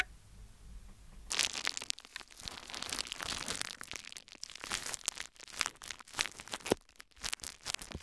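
A thin, clear plastic bubble wrap sheet held in both hands over the recorder is crinkled and squeezed with fingertips. After about a second of near silence, bright, dense crumpling and crinkling begins, broken by sharp, short pops that end without ringing.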